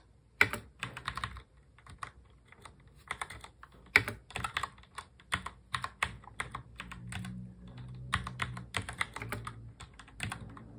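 Fingertips type on a full-size black mechanical keyboard with plastic keycaps, producing bright, clicky keystrokes in uneven bursts with short, sharp decays. Partway through, one hand briefly reaches across the board, and the typing slows while a faint low hum is heard. The typing then resumes.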